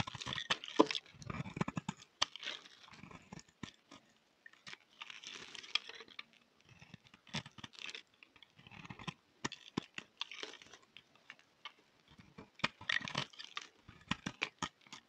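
A palm-sized, solid mint-and-white striped bar of soap is shaved with a utility knife blade. Dry scraping and cutting strokes crackle and crunch in quick, bright bursts, with short pauses between passes.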